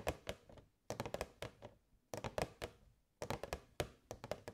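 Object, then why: Clear plastic box. Long nails tap the sides of a hollow, transparent plastic box with fairy lights inside. Four quick bursts of short, dry, hollow clicks and thunks decay almost instantly, with brief silences between the bursts.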